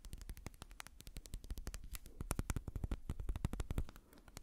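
Fingertips and nails quickly scratch and tap a small brown amber glass dropper bottle and its white dropper cap, held close. A rapid, steady run of short, dry clicks and taps with scratchy, bright edges sits over a soft low rumble. The taps grow slightly louder midway, then fade near the end.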